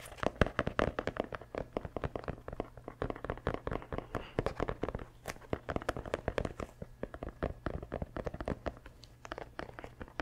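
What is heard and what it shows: Fingertips rapidly scratch and tap the rubber sole and heel of a running shoe with a synthetic mesh upper, held up close to the mic. Dense, sharp, dry clicks and crackly scrapes come in an uneven stream, over a steady low hum throughout.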